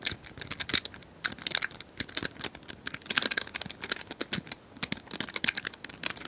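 Long nails tap and scratch a small plastic cylindrical puzzle toy with colored tiles, likely hollow. A rapid, uneven series of dry, bright clicks mixes with scratchy, crinkly rasps. There is almost no low end, and each hit stops at once without ringing.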